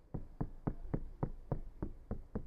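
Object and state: Soundproofed van door, solid.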